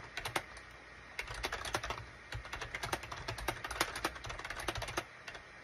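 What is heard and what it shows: Fingertips type on a full-size gray and beige SHIPADOO K600 wired USB plastic keyboard with hollow plastic keycaps. The result is bursts of light, clicky taps with a bright, hollow clatter, separated by brief pauses. A low steady hum sits underneath.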